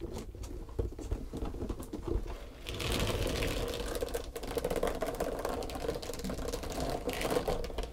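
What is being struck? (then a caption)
Textured foam body sponge. Long, pointed green nails tap and scratch a long, flat, pale pink textured foam back-buffer sponge. The result is a dense patter of quick, soft taps over a scratchy, rustling texture, with low muffled thumps underneath. The sound grows fuller and busier after about three seconds.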